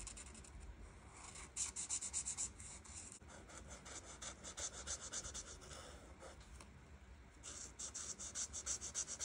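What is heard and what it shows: The felt tip of a plastic art marker rubs back and forth across a flat printed paper coloring page, a solid sheet, filling in leaves. Quick, bright, scratchy strokes come in rapid bursts with brief quieter pauses between. A faint low rumble sits underneath.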